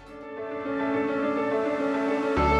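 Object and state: Nothing is struck.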